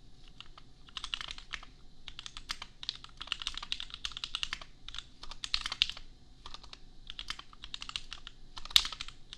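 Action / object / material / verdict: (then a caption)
tap / plastic mechanical keyboard / plastic / none. A compact custom mechanical keyboard costing $250, with Gateron Milky Yellow switches and red and pink plastic keycaps, is typed on with the fingertips of both hands. The result is rapid bursts of bright, dry plastic clicks centred around 3.7 kHz, with almost no ring, separated by short pauses, and one sharper, louder keystroke near the end.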